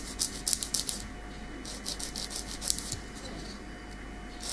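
Long, small, solid natural keratin fingernails are filed back and forth with a light grey nail file of unclear material held in the other hand. The result is a bright, rasping scratch in quick, uneven bursts, loudest at the start, over a faint steady hum.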